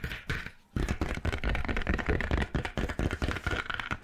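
Long nails tap and scratch the surface of a dark grey stitched faux leather notebook cover, held flat and upright close to the mic. Quick, irregular dull taps with a heavy low thump mix with soft scratchy rustling, with a brief lull just before the one-second mark. Each tap dies away almost at once.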